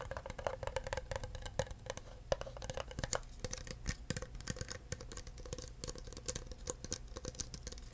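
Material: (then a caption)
Plastic. Fingertips tap rapidly on the bottom and sides of an empty clear plastic cup held upside down. Dense, short, dry clicks run for the whole stretch with almost no ring, carrying a faint hollow tone around 555 Hz over a steady low rumble.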